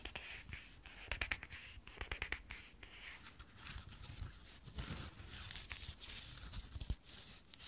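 An espadrille sandal with a braided jute rope wedge sole and a brown leather strap is held in both hands while long painted nails scratch along the rope sole. The result is a quiet run of dry, rough, bright scratching strokes, some quick and clustered, others longer drags, with a faint low rumble underneath.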